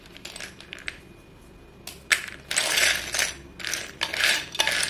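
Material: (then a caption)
Chalk. Dusty fingertips stir a heap of short, solid white chalk sticks in a dark bowl and press them together. A few faint, bright clicks come first, then louder bursts of high clinking and gritty crushing that rise and fall through the rest of the clip.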